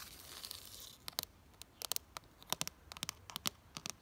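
Long fingernails scratch and tap the ribbed front wall of a plastic flower planter box filled with soil and flowers. A soft, hissy scratching opens the clip, then gives way to many sharp, bright clicks and taps, mostly high-pitched with very little low end.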